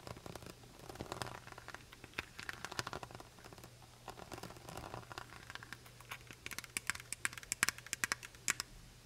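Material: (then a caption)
Plastic. Long white acrylic nails tap and trace along the label and brown plastic cap of a large Kirkland honey bottle, made of clear plastic and full of honey. Soft crinkly scratching and rustling mix with sharp, bright clicks that grow louder and more frequent toward the end, over a faint steady low hum.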